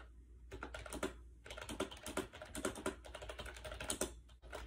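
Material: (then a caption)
Plastic. Fingertips type fast on a compact gray plastic AJAZZ 308i Bluetooth wireless keyboard with round white keycaps, resting on a bed. The hollow plastic keys make quick, uneven, clacky taps that die away almost instantly. A short pause near the start and another near the end break the runs, over a steady low hum.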